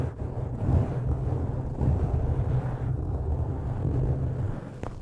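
Fingertips of both hands scratch and squeeze a soft, porous black foam windscreen pulled partly over a studio microphone's metal grille. This produces a dense, boomy low rumble with steady rustling swells, with almost nothing in the highs. A brief faint bright tick comes just before the end.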